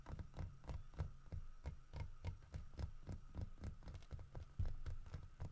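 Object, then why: Carved wooden bear statue. Fingertips and nails tap the snout, head and sides of a solid carved wooden bear statue holding a fish. The rapid, irregular taps land a few times per second as dull, low knocks with short bright clicks, over a steady low hum and a faint mid-pitched tone.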